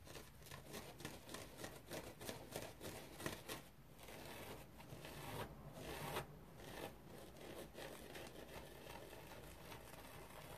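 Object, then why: Foam bath sponge. Fingernails scratch a dry teal foam bath sponge with fine pores and a rope loop. The result is a quiet, steady stream of rapid, crackly rasping with bright, papery texture and a few slightly louder strokes along the way.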